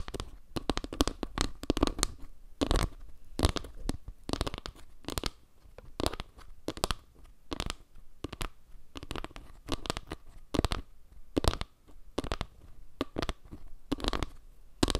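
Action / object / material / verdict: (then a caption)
scrape / panel of wooden log slices / wood / none. A round wooden log-slice panel, held at an angle, is scratched by long nails across its dark center tiles and along the edges of the slices. The clip is a rapid series of short, dry scratching strokes, each a sharp broadband burst with a soft low thump beneath it. The strokes stop almost instantly, with quiet gaps between them.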